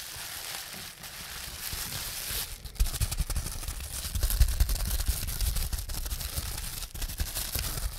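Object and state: Plastic bubble wrap being popped.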